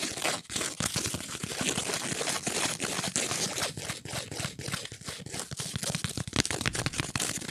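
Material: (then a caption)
Cardboard. A flat, octagonal, printed cardboard ornament with an angel picture, thin and solid, is held in the hands and scratched and tapped with long nails. Dense, bright, crinkly scratching runs steadily throughout, broken by quick dry taps with no ring.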